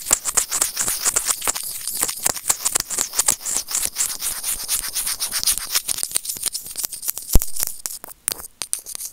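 A small hollow white plastic earphone mic remote is rubbed and scratched with white plastic serrated tweezers. The result is a dense, rapid stream of bright, crackly scratches and scrapes with very short, dry clicks. Near the end the scratching thins into scattered taps.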